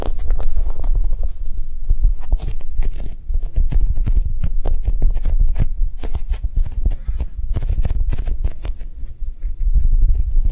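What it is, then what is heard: Soft foam squishy toy. A Japanese cheesecake squishy, a soft foam toy, is tapped quickly and steadily for about ten seconds. The taps are soft, dull and low, with no ring, forming a continuous gentle patter.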